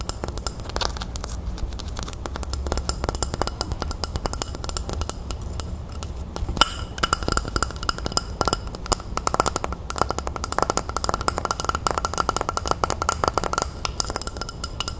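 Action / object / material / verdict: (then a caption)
tap / small ceramic bowl / ceramic / none. A small, empty, hollow white ceramic bowl with a scalloped rim is held in the hands and tapped and scratched with long painted nails. It gives a rapid, dense stream of dry clicks and bright clinks, with a faint ring near 1.4 kHz, over a low background rumble. The ringing dies away almost instantly.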